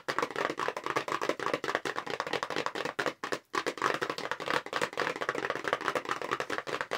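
Long pink nails tap rapidly on the front panel of a long, narrow, light-blue paperboard makeup brush box that is hollow and held horizontally. The taps are dry, short and hollow-sounding, with a papery mid-range knock and no low end. The rhythm is fast and continuous, with a brief pause just after the three-second mark.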